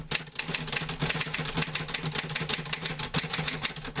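Fingertips type on the keys of a green-grey metal portable manual typewriter with paper loaded, producing a rapid, steady run of sharp, bright mechanical clacks that stop almost instantly. A faint low hum sits underneath the keystrokes throughout.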